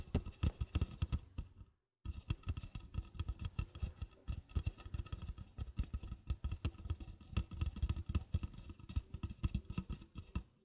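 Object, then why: Thin plastic party cup. An empty 16 oz red plastic party cup, hollow and turned upside down on a fluffy rug, is tapped and scratched on its side wall with long black-painted fingernails. Rapid, dull, low-heavy taps and scratchy clicks run throughout, with a brief silent gap near the two-second mark. Another cup and a wire rack nearby are not touched.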